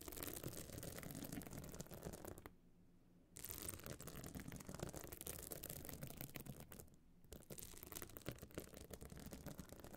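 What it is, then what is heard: Pebble-encrusted clutch bag being scratched. Long nails scratch the surface of a small, hard, metal-frame clutch bag covered in glued stone chips, standing open. The result is a dense, gritty, rasping scratch that is full across the range and brightest at the top, broken by two brief quiet pauses.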